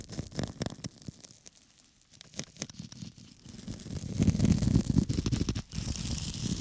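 A small flat square of pink porous foam sponge, held in one hand, is scratched with a small metal tool held in the other. The rapid, uneven scratching makes a dry, rustling, tearing sound that is heavy in the lows. It swells into a louder, denser rasp after about four seconds before briefly dropping away and resuming.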